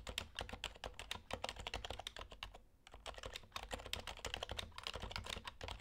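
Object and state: Topre keyboard typing.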